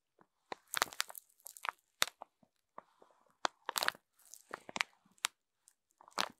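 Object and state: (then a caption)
Plastic-wrapped sponge pack. A wooden stick and then fingertips scrape and rub along the thin clear plastic film wrapping a row of rainbow foam sponges lying on a table. The result is a quick, irregular run of sharp, bright crinkles and crunchy crackles separated by brief silences.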